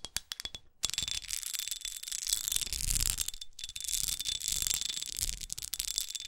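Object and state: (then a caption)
Textured glass perfume bottle. Long acrylic nails tap and scratch a small red pyramid-studded glass perfume bottle held in the hand, working over the studded glass and its edges. A few quick, sharp taps at the start give way to continuous bright, raspy scratching with short pauses. A faint steady tone sits around 3.4 kHz.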